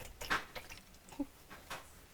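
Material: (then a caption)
Fried batter. Battered cauliflower pieces fried in oil are handled in the pot, giving short, bright crackling crunches scattered across a quiet background. The pieces are golden brown, crispy and light, and ready.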